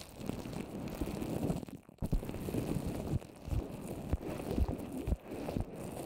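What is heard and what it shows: Long orange nails tap quickly on a microphone covered in a small rounded dome of wet white paper mache. The taps come through as dull, muffled, low-heavy thumps and sticky crackles with almost no brightness, and the sound drops out briefly near the two-second mark.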